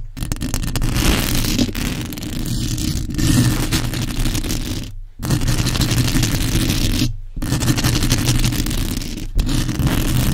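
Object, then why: Metal mesh microphone grille. Long almond acrylic nails and fingertips rapidly scratch and tap the hollow, domed metal mesh grille of a large black USB condenser microphone. The result is a dense, continuous rasping scratch over a heavy, booming low rumble, with bright crackle on top. The sound cuts to brief silences a few times before resuming.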